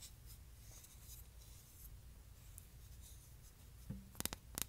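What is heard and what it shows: Long nails softly scratch across a light, solid wooden hexagonal canister lid, its round plug facing up, as it is held and then set on a table. The scratching stays faint and hissy before six sharp, bright taps land on the plug and rim near the end, each dying away almost instantly.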